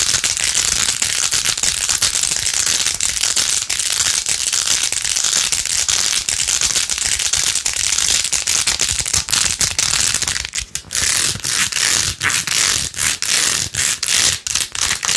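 Long acrylic nails fast-scratch across rows of pink plastic pearl beads glued onto a handheld, rose-gold-edged plastic phone case. The result is a dense, bright, crackling rattle that runs almost continuously, then breaks into short bursts with brief pauses near the end.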